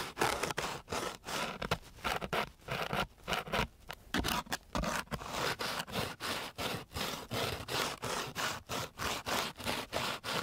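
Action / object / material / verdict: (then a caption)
scrape / sandpaper sheet scraped with a wooden stick / sandpaper / none. A flat wooden stick is scraped back and forth across a flat, coarse, gritty sandpaper sheet. It makes a quick series of separate rasping strokes with a broad, bright, gritty hiss, each ending abruptly with short gaps between. The rhythm is brisk and somewhat uneven.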